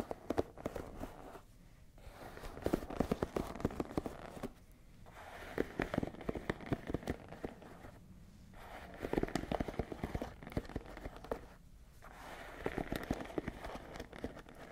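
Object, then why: Wooden paddle hairbrush with wooden pins. Long nails scratch and flick the wooden pins of a wooden paddle hairbrush held sideways close to the mic. Dense, dry crackling clicks and scratches come in bursts separated by short quiet pauses, each click snapping off almost instantly with a woody, mid-toned character.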